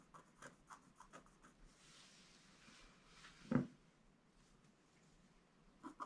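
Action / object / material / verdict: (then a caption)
scrape / black-coated scratch-art card and wooden stylus / coated card / none. A wooden stylus scratches vertical lines into a flat, black-coated scratch-art card page. Quick, dry scraping strokes come first, followed by a longer, bright, hissy drag. A louder, lower stroke follows near the middle, then a pause before a couple more short scratches at the end.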